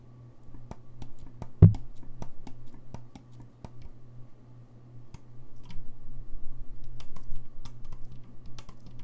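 Fingertips repeatedly tap and click the keys of a hollow, gold-lacquered brass saxophone held upright. Short, sharp clicks with quick hollow thumps sound over a steady low hum, with one louder knock near the start.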